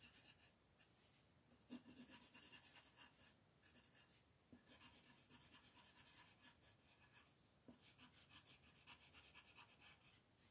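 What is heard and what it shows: A red wooden colored pencil rubs over a flat white paper coloring page lying on a table in continuous shading strokes. The result is a quiet, bright, scratchy rasp that pulses in steady back-and-forth rhythms, with a few slightly louder taps along the way.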